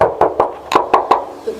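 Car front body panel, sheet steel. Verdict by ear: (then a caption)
Original. Knocks on the front bumper/cover of a used 2022 Gran Max 1.5 minibus give several short, dry taps with a hollow tone centered near 1 kHz that die away almost instantly. They show the front panel is still its original sheet steel with no body filler.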